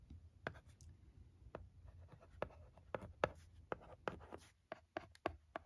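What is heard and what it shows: A pencil-shaped stylus tip scratches and taps the screen of a flat, thin plastic LCD writing tablet lying on carpet while writing words. Quiet, dry scratching strokes are broken by short, sharp plastic taps with no ring, over a faint low hum.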